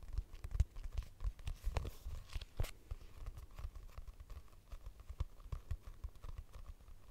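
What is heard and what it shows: A purple hardcover notebook with a barcode price sticker, a solid paper block, is held near the mic and tapped and scratched with long nails. The result is a dense run of quick, dull, low-heavy taps mixed with short dry scratching and crinkly bursts, each dying away almost at once.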